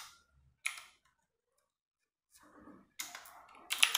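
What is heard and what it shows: A compact 60% RGB-backlit mechanical keyboard with plastic keycaps is typed on with fingertips and long nails in a dark room. Sharp, bright, clacky keystrokes come in short bursts separated by silence, with a softer cluster of taps before louder clicks at the end. Each click dies away almost instantly.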